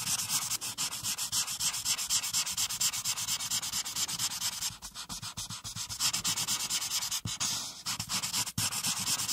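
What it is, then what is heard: Marker coloring on paper. A marker tip scrubs rapidly back and forth across a flat paper coloring page resting on a clipboard, filling in a teal background, held by a hand with long nails. The result is a steady, bright, hissy scratching made of quick repeated strokes with almost no low end, pausing briefly now and then before carrying on.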